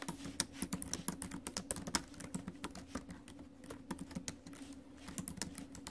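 Both hands type fast on an ASUS laptop keyboard, with plastic keys set in a silver metal deck, tapping with fingertips and nails. The result is a rapid, uneven stream of short, dry clicks and clacks, each with a bright edge and a low hollow thump from the deck beneath.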